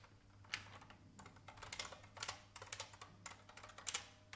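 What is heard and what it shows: A vintage beige IBM mechanical keyboard with plastic keycaps is typed on with the fingertips of both hands, long red nails touching the keys. About fifteen sharp, bright clacks come in an uneven rhythm, each dying away almost at once, over a faint low hum.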